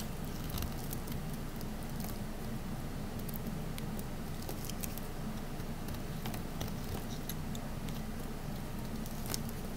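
A small, solid pink oval Dial bar of soap is held in the hand while its edges are cut and scraped with a metal utility knife blade. A steady low rumble runs throughout, broken by scattered bright, crisp scraping ticks as the blade shaves the soap.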